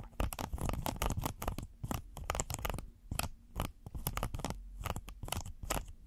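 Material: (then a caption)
Silicone. A red textured silicone pot holder is folded and rolled in the hands while fingernails scratch and squeeze it. Dense, irregular bursts of dry scratching and crinkling rustle with a soft, low, muffled weight underneath, each burst cutting off quickly with no ring.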